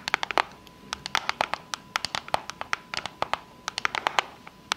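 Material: Cardboard.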